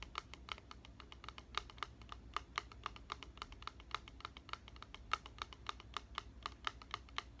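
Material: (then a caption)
Plastic. A clear plastic spray bottle with a white trigger, partly filled with liquid, is held upright and tapped along its side with fingertips and nails. The result is a quick, steady run of light, dry clicks with a bright tone around 1.3 kHz, each dying away almost instantly over a faint low hum.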